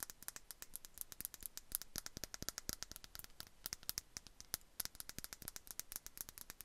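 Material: Glass.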